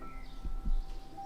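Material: Nothing is struck.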